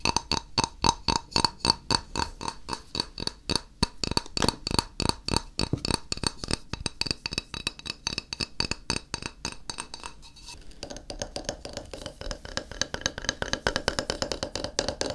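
A flat, solid white glazed ceramic tile, first held in the hand and then stood upright, is tapped rapidly with fingertips and nails. It gives sharp, bright clinks with a short high ring. The taps run in quick, steady bursts, growing softer and denser toward the end.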